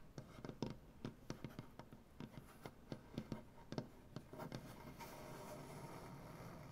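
Long dark-painted nails tap a solid light wood butcher block tabletop in a quick series of short, dry, soft knocks with a low woody body. Around the fifth second the taps give way to a steady, quiet scratching rasp across the surface.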